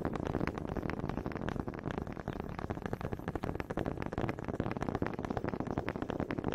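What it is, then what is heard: Wooden honey dippers knocked together. Two small solid wooden honey dippers with grooved heads, held one in each hand by fingers with long red nails, are knocked together in front of a microphone. The result is a steady, slightly uneven stream of quick, dry, woody clicks and knocks, weighted toward low and middle tones, each dying away almost instantly.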